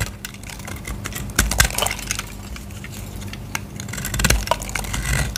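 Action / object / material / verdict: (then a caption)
scrape / bar of soap shaved with a blade / soap / none. A solid white bar of soap held in the hand is shaved with a utility knife blade, and dry curls are scraped off. Brief crackly scrapes and light ticks sit over a steady low hum, with a few sharper crunches standing out.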